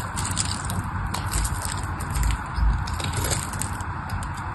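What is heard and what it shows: A craft knife blade scrapes and carves a solid pink bar of dry soap, producing a steady, dense run of crunchy, crumbly scraping with a heavy low rumble underneath. Faint bright crackles flicker over it, and the sound swells slightly in a few spots as the blade bites deeper.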